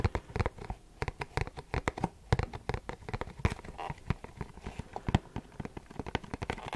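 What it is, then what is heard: Cardboard box tapped with fingernails. A printed Versace perfume cardboard box is held up and tapped with short fingernails. It gives a quick, irregular run of dry, hollow clicks and light taps. Each tap is sharp and dies away almost at once, with a low papery thump under a faint bright edge.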